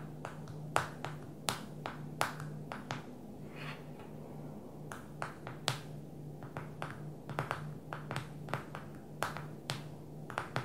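A single long nail or fingertip taps the glass touchscreen of a small black smartphone lying flat on a glossy table. It makes a quick, irregular series of sharp, dry clicks that die away almost instantly, with some taps louder and brighter than others. A steady low hum runs underneath.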